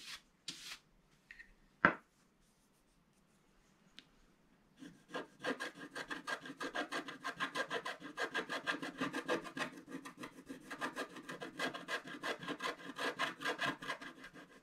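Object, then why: Wax-coated scratch art card scraped with a wooden stylus. A wooden stylus scratches a black wax-coated scratch art card lying flat, working around a drawing of a vase and flowers. A few sparse scrapes and a sharp tick open the clip. From about five seconds on come steady, rapid back-and-forth strokes, a dry, bright rasping that stays quiet and continues to the end.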